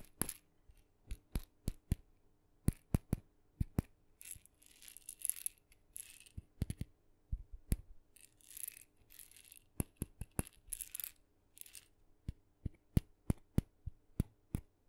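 A small red painted wooden maraca with blue dots and a wooden handle, hollow and filled with beads, is tapped and scratched with long fingernails near the microphone. Sharp, dry clicking taps alternate with short bursts of bright, hissy scratching that carry a faint bead rattle.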